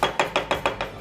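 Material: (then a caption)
Oak. Six sharp knocks on a wet, cracked oak burl bowl blank being rough turned, each a short, hollow-sounding tap centred around 530 Hz that dies away quickly. The knocked section sounds hollow, as the burl is full of cracks.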